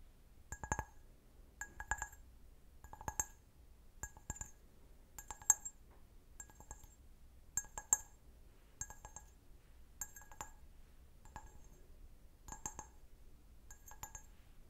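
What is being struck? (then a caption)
Stemmed glass wine glass. Fingernails tap the foot of a clear, medium-sized, empty stemmed wine glass held sideways, producing short, bright glassy clinks in small clusters. The clusters repeat about every one to one and a half seconds across the clip. Each tap dies away almost instantly over a faint low hum.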